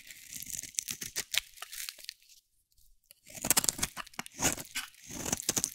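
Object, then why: Bar of soap. A metal blade scrapes and carves strips off a solid green bar of dry soap held in the hand. Bright, crisp crunching and tearing scrapes come in quick bursts, with a short near-silent pause midway before the carving resumes.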